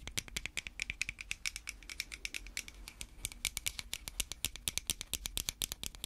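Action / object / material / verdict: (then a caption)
tap / small plastic pill bottle / plastic / none. Long red fake nails on gloved hands tap and scratch a small hollow white plastic pill bottle with a cap. The result is a rapid, steady run of dozens of sharp, dry clicks and scrapes. The sound is bright and high, with almost no ring.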